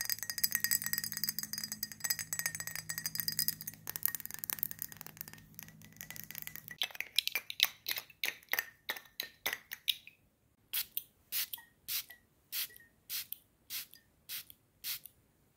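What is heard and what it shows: A rectangular, hand-sized glass perfume bottle with a black cap, filled with red-tinted liquid, is tapped quickly with long painted nails on the glass and cap. Dense, rapid, bright clicking taps with almost no ring give way to slower, evenly spaced sharp ticks toward the end.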